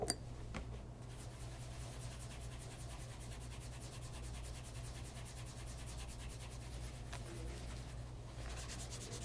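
A cloth wrapped around the fingers rubs polish over the toe and vamp of a light brown pebble grain leather loafer resting on a leather lap mat. A quiet, steady, rhythmic rubbing hiss with bright, high stroke textures runs over a constant low hum. A brief tap opens the clip.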